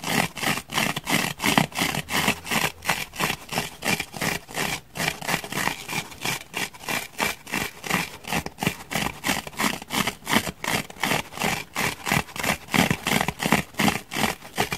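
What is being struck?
Grey foam block.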